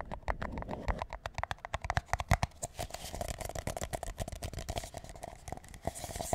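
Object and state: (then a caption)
Paper drink cup. Fingertips and nails rapidly tap and scratch the base and sides of a large, empty, hollow paper McDonald's drink cup, white with a yellow logo, held upside down with its bottom up. Quick, dry, hollow thumps carry a faint resonant tone near 700 Hz, mixed with scratchy, papery rustling. The taps die away almost instantly.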